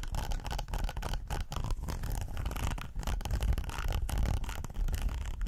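Fingernails scratch along the ridges of a red textured silicone pot holder, first while it is folded and then while it lies flat. The result is a dense, continuous rasping scratch with a heavy low rumble and only brief dips in loudness.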